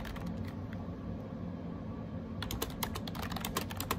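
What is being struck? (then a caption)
Plastic wireless keyboard with round keycaps. Fingertips type rapid key taps on a gray AJAZZ 308i wireless Bluetooth keyboard with round plastic keycaps. Light, sharp plastic clicks sit over a steady low hum, with quieter, softer taps at first and brighter, more distinct clicks in the last second and a half.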